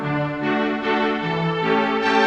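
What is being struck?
Nothing is struck.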